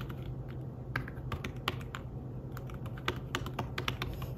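Fingertips type rapid taps on the keys of a slim fabric-covered tablet keyboard. Soft, muted clicks with bright short tops come in quick uneven bursts over a steady low hum.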